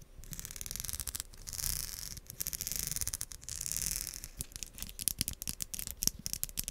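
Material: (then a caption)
Plastic. A pink, hand-sized wide-tooth comb made of solid plastic is scratched and strummed along its teeth by long acrylic nails. Bright, rapid ticking comes in rasping bursts for the first few seconds, then breaks into separate sharp plucks that ring very briefly.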